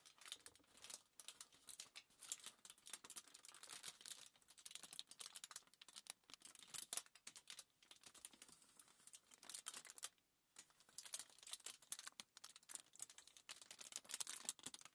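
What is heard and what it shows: A crumpled sheet of thin aluminium foil lies flat on a table while long nails tap and scratch it and fingertips rub across it. The result is a dense run of quick, bright crinkles and ticks with almost no low end. There is a brief pause of near silence just after ten seconds.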